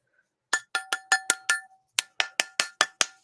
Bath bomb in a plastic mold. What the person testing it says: you can hear the difference when it loosens there